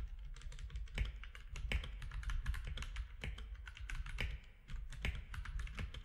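Fingertips of both hands type on a compact plastic mechanical keyboard with grey, white and orange plastic keycaps. Rapid, clacky keystrokes with bright clicks ride over a deep low thump, each stroke dying away almost at once. Some strokes land harder than others.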